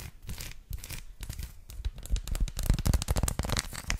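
Long lilac nails tap and scratch rapidly over a flat, solid, hand-sized dark chocolate bar with raised textured bumps. The result is a fast, uneven run of dry, dull taps mixed with crackly scratching that grows louder and busier in the second half, each tap stopping short with no ring.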